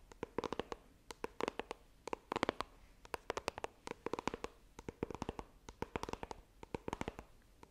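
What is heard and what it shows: Long nails tap and scratch the surface of a small, hollow white iPhone retail box made of coated cardboard, held in both hands. Quick, dry clicks come in rapid clusters with brief pauses between them. Each tap is sharp and stops almost instantly, with a mid-range hollow tone and faint bright scratchy edges.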